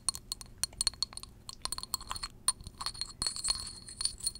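A small glass perfume bottle holding amber liquid is held close to the mic and tapped with long jeweled acrylic nails. The result is a quick, uneven run of bright, high glassy clinks and clicks that ring very briefly, growing busier and more continuous toward the end.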